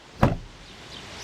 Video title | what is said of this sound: Test JAC E30X what can the next Chinese under 20,000 euros ⁉️ | determine if it sounds hollow or insulated. So, a mix.